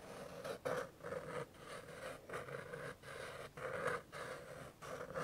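A flat white and yellow paper card-stock greeting card reading "POP" is held in one hand while the fingertip and nail of the other hand scratch and rub the silver scratch-off circle in its middle. Eight dry, papery scratching strokes follow one another in quick bursts, each with a rough midrange rasp and brief quiet gaps between.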